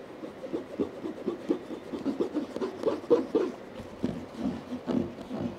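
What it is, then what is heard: Hard-shell EVA headphone case. Fingertips and short nails tap and drum on the textured lid of a medium, hollow, zipped black molded hard-shell EVA headphone case lying flat on a quilt. A quick, irregular patter of soft, hollow taps, centred in the low-mid range, dies away almost instantly after each hit.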